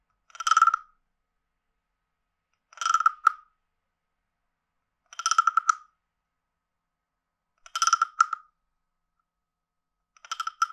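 A wooden stick is scraped across the ridged back of a hand-sized, hollow, carved wooden frog guiro, producing five separate ratcheting croaks spaced a couple of seconds apart. Each croak is a quick burst of tight clicks centered around 1.3 kHz with bright overtones, falling to silence between strokes.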